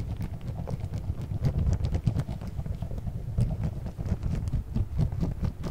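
A small, round, clear plastic food container with a blue lid, partly filled with orbeez, is held in one hand, shaken and moved around close to the mic. The beads rattle and roll inside in a dense, steady, soft pattering that sits mostly in the low range, with faint bright ticks scattered through it.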